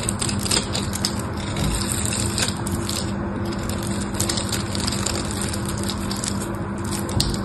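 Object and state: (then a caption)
Bar soap being cut and scraped. A small knife blade cuts and scrapes a solid pink bar of soap with a grid-scored surface, breaking off chips. The result is a steady, dense run of crisp crunching and scraping with bright, crackly clicks over a low, full body at an even level throughout.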